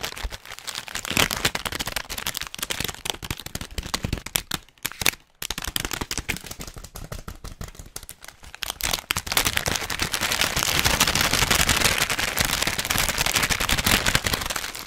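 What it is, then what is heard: Plastic snack bag. An orange plastic or foil snack bag holding nuts is crinkled with the fingertips, giving dense, bright, crackling crinkles with short sharp snaps. The sound thins out with brief gaps around the five-second mark, then grows louder and more continuous from about nine and a half seconds to the end.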